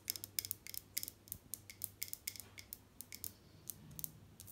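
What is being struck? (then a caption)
Glazed ceramic mosaic wall tiles. Long dark nails tap and scratch over glazed ceramic wall tiles with raised mosaic pieces, solidly fixed to the wall. About 21 quiet, sharp, bright clicks come in an uneven rhythm, each dying instantly with no ring, with light scratching in between.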